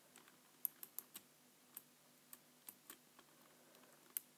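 Fingertips press and tap the keys of a black full-size plastic computer keyboard resting on a white surface in a typing motion. Eleven quiet, short, dry clicks with bright high edges sound at an uneven pace over a faint low hum.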